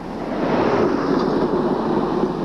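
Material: Nothing is struck.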